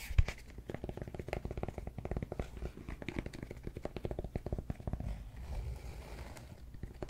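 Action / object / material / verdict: tap / cork yoga block / cork / none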